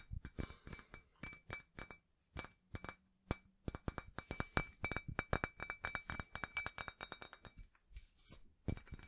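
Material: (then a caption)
Cast iron. Fingertips and nails tap and scratch the embossed face and rim of a small, solid, rusty cast iron 2.5 lb barbell plate. Dozens of quick, bright, clinking taps come in uneven runs, each with a short, faint high ring. Brief rasping scratches fall between them.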